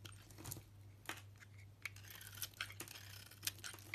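A small blade shaves flakes off a solid soap bar with a pale yellow core and green rind. Quiet, crisp scraping and crunching cuts come one after another, bright and brief, over a steady low hum.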